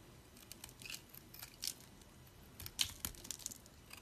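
A utility knife blade cuts and scrapes a solid, dry green soap chunk held between the fingers, crunching off small soap pieces. Quiet, bright, crisp crunches and scratchy scrapes come in short bursts with almost no ring, and the sharpest snaps arrive near the end.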